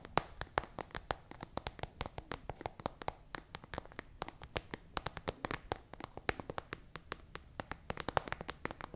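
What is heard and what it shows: A small, hollow, translucent frosted plastic pencil case with a pink pen inside is held close to the microphone and tapped and scratched with long acrylic nails. The result is a quick, irregular run of sharp, dry clicks, each dying away almost instantly, over a faint low hum.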